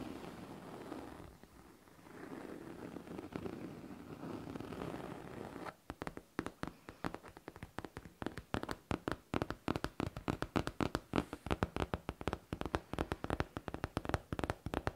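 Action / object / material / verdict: tap / faux leather backpack / faux leather / none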